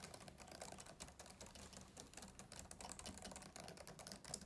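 Both hands type fast with short-nailed fingertips on the low chiclet keys of a black plastic laptop keyboard on a closed-deck laptop. The result is a quiet, steady stream of rapid, bright plastic clicks and taps with very short decay and a light low thump under them.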